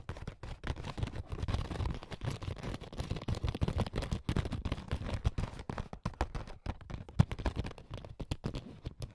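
A small, soft, hollow clear plastic makeup bag with a blue zipper is tapped and scratched with AA batteries worn as long fake nails. Dense, rapid, dull low-pitched taps mix with soft scratching rustle throughout, with little bright content and no ringing.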